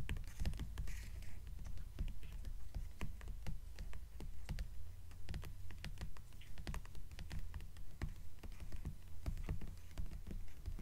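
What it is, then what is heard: Hardcover book with paper dust jacket, nail tapping. Long nails on both hands tap rapidly across the paper dust jacket of a purple hardcover book lying flat on a table. The quick, uneven stream of short, dry clicks is sharp and bright, with no ring, over a steady low hum.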